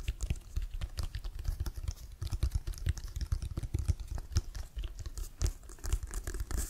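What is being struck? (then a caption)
Leather-covered inflated American football. Fingernails scratch and tap the laces and pebbled cover of a brown, hollow, inflated leather-covered American football held in both hands with the laces up. Dense, rapid taps produce soft low thumps, with faint bright scratchy ticks over them. The taps land continuously and irregularly, each dying away almost at once.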